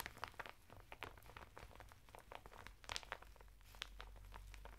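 A flat bath mitt of coarse woven natural fibre, sealed in a thin printed plastic packet and lying sideways on a table, is scratched through the plastic by fingertips and nails. Quiet, dry crinkling and scratchy crunches come as a rapid run of short, bright bursts over a steady low hum.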